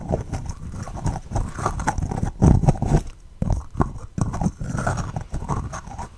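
Long red fingernails tap and scratch a small, hollow green plastic slime tub with a lid, held in both hands close to the mic. Quick, hollow knocks with a low body run together with scratchy rasps. The louder bursts come in clusters separated by brief quiet gaps.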